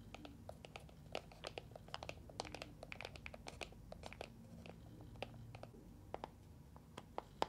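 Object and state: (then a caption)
Plastic box of water beads. A small translucent green plastic box with a handle, filled with water gel beads, is held in both hands and tapped and scratched with long nails. Many quick, sharp clicks and crisp scratches scatter irregularly over a faint low rumble, each dying away almost instantly. The overall level stays quiet, with a few brighter, louder taps standing out.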